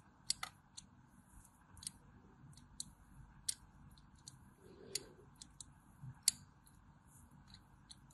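A small metal blade carves a cross-hatch grid into the face of a solid white bar of soap held in the hand, with shavings falling onto a blue surface. About twelve sharp, bright scratching clicks stand out over a faint steady hiss, each dying away almost instantly.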